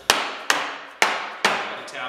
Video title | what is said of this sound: Mountain Sky Furniture Foot Stool/Table Assembly | you can hear here when it's seated in there